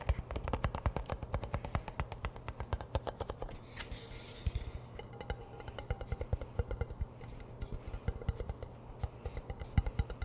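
Fingers tap rapidly on the lid end and side of a hollow cardboard Pringles chip can held close to a microphone. The result is a dense, uneven stream of short, deep, hollow thuds that die away almost instantly, with faint bright ticks above them.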